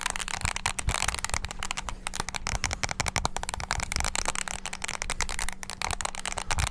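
Fingertips rapidly press the keys of a small black handheld plastic mini wireless keyboard, producing a dense, fast stream of sharp, bright clicks and clacks with almost no ring. A faint steady low hum sits underneath throughout.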